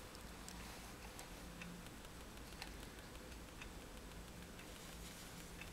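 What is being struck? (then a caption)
Sheet of drawing paper on a table, tapped with a fineliner tip. A fineliner pen tip is tapped repeatedly on a flat white drawing sheet resting on a table to make dots. The soft, bright ticks come at an irregular pace over a quiet, steady low hum.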